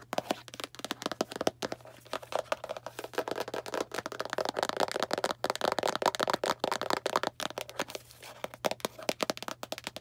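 A small Arm & Hammer cardboard baking soda box is held in hand and scratched and tapped with long nails. Rapid, dry crackling taps and scraping scratches run throughout, with a steady low hum underneath.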